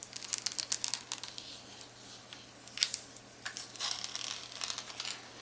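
A handheld, hollow black plastic Texas Instruments graphing calculator with rubbery keys and an LCD screen is held up close. Long acrylic nails tap and click on the screen edge and keys, making quick, bright, high-pitched clicks and light scratchy rustles with almost no low end. The clicks come in fast clusters separated by softer rubbing.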